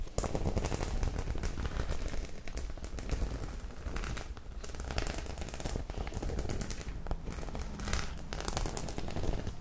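Long pink acrylic nails scratch and tap across the rows of small metal studs on a medium white flat faux leather clutch bag, which is soft and hollow. The result is a dense, continuous crackle of quick clicks and scrapes with a deep low rumble underneath and brief bright ticks on top.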